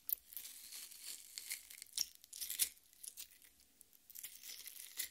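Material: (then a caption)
Watermelon flesh. Long nails scratch and dig into the juicy red flesh of a half watermelon. The result is quiet, bright, wet crackling and tearing scrapes in uneven bursts, with almost no low end.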